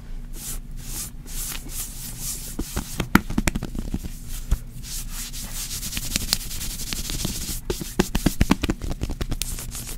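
Long acrylic nails of both hands scratch and rub across a pink, soft cotton knit button-front pajama romper worn on the torso. The result is a dry, steady scratching and rustling texture with bright hissy strokes, sharp little clicks and ticks scattered through it, and a low steady hum underneath.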